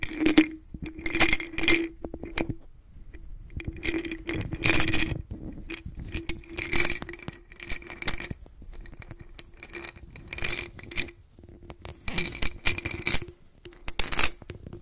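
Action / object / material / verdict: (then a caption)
shake / glass jar holding glass beads / glass / none. A white-gloved hand tilts, turns and shakes a medium clear glass jar partly filled with blue glass beads, so the beads clink against the glass. Bursts of bright, rattling clinks come and go with short quiet gaps, over a faint low tone. Each clink dies away almost at once.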